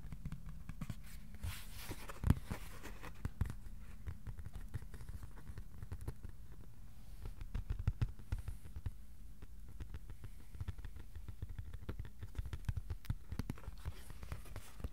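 A thin, flat white cardboard sheet, about A4 size, is held upright and tapped with the fingertips. The result is a steady stream of quiet, dull, low taps with almost no ring, arriving in irregular quick bursts. A few taps land a little harder than the rest.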